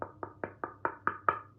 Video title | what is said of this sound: How to be Happy and Discover Your Purpose - Ikigai by Hector Garcia Francesc Miralles Book Review | knock on the back and as it's solid